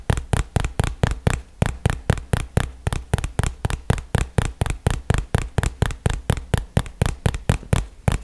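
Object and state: Cardboard box tapped.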